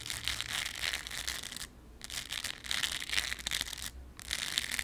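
Very long yellow acrylic nails scratch the textured surface of a thin, solid, round embroidered fabric lemon-slice patch. The sound is a dense, crisp, high-pitched rasping that drops out for two brief pauses before resuming.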